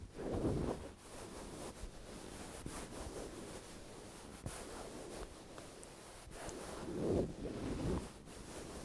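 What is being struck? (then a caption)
Stuffed velvet cushion. Hands rub and squeeze a medium-sized, soft, stuffed dark grey velvet cushion while fingertips and nails scratch its velvet cover. The result is a quiet, steady, muffled rustling and scratching with little brightness, swelling louder near the start and again near the end.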